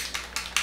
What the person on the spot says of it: you can hear the little ball in there to help shake it up because it's so watery